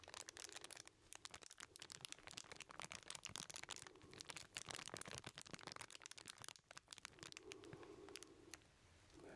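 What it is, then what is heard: Aluminum foil wrapped package. A small package wrapped in crumpled aluminum foil is held up in both hands while fingertips crinkle and rub the foil. Dense, bright crackling and rustling comes in quick bursts with brief pauses, and a softer, duller rubbing rises near the end.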